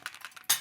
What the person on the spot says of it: as you shake it so they can hear that something's inside